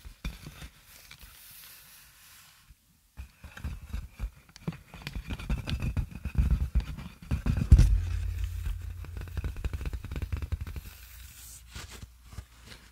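Clear plastic inflated air-column wrap, with hollow air-filled tubes, is held upright and squeezed and rubbed with fingers and long nails. The result is a stream of dense, low, thumping rubs and crinkly scrapes under a faint bright hiss. It builds to a louder stretch near the middle before easing off.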